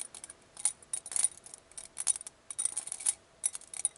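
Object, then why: Glass bowl holding many small glass vials. A clear, hollow, round glass bowl or wine glass filled with many small glass vials of glitter and beads is held in the hand, fingertips and long painted nails on the glass, and shaken. The vials rattle and clink against each other and the bowl in quick bursts of bright, high, glassy ticks. Each clink dies away almost instantly, with near silence between the clusters.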